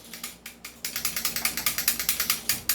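A loose metal outer barrel on a non-upgraded airsoft rifle is shaken up and down by hand with a finger resting on it. It makes about twenty quick, bright, dry clicking rattles that come faster as the shaking continues. The rattle shows the outer barrel is loose, unlike an upgraded rifle whose fixed outer barrel does not rattle.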